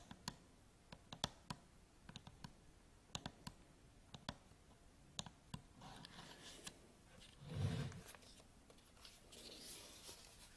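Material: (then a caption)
Plastic. Long nails tap and scratch a black Canon DSLR camera body with a lens cap, its textured plastic and rubber grip struck on the top, front and back. Many sharp, dry clicks ring out with almost no ring, broken by scratchy rubbing passages and a louder, fuller rub near the eighth second.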